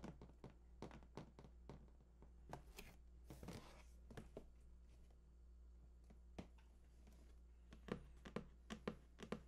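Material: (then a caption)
Cardboard. Fingertips tap and scratch the printed front face of a large, hollow cardboard PS4 console box lying flat. A loose run of short, dull, hollow taps is heard, with a brief scratching burst partway through and a steady low hum underneath. The taps cluster more densely toward the end.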